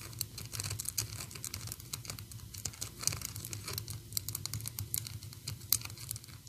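Long orange and black acrylic nails tap and scratch on the sweater and head of a small solid painted PVC Sadness figurine. The result is a dense run of quick, sharp, bright clicks with dry scratching between them over a faint low hum.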